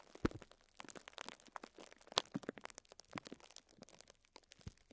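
Fingertips and short nails scratch and crinkle clear plastic cling film wrapped around a pink sponge, close up. A quiet, continuous stream of dry, bright crackles and crinkles is broken by a few sharper clicks, each dying away instantly.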